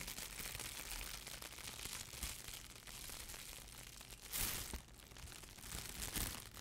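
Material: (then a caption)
Plastic. A thin, clear, crumpled plastic wrap or bag is held in both hands and crinkled, squeezed and stretched by hand. It makes a steady, bright crackling rustle, with louder crinkling bursts near 4.4 and 6.2 seconds before it settles back to a soft, continuous crinkle.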